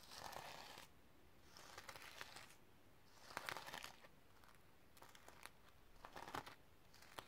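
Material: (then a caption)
Plastic sequins. Long red nails scratch and flip the reversible sequins on a sequin-covered notebook resting on a stack of books. Bursts of dry, crinkly scratching and rustling rise and fall, with bright clicking ticks as the sequins flip, separated by quiet pauses.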